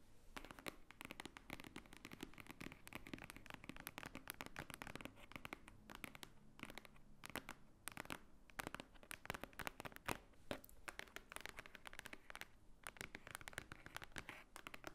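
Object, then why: Thick stack of paper, book block. A fingernail taps on the top surface of a thick, solid, book-like stack of white paper lying on a table. Rapid, crisp, dry clicks with almost no ring follow one another in dense, uneven bursts for the whole clip, over a faint low background hum.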